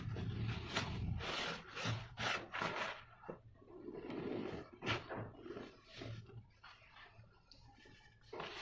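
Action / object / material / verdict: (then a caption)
scrape / loose cement powder in a plastic basin / cement / none. Fingertips and nails rub and scratch the surface of a flattened mound of loose, dry cement powder in a plastic basin. The result is a run of uneven, dry, gritty rubbing and scraping strokes with a hissy, bright edge over a low rumble. The strokes rise and fall in loudness as the hand moves across the powder.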